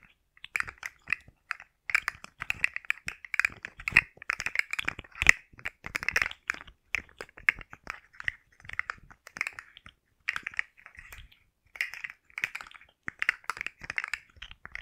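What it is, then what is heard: Plastic articulated slug fidget toy. A rainbow segmented plastic articulated slug fidget toy is bent in both hands close to the mic while long nails scratch and tap its segments. Dense bursts of dry clicks, crackles and scratchy rattles sit mostly around 2 kHz with bright upper edges and almost no low end. Each click stops instantly, and short quiet gaps separate the bursts.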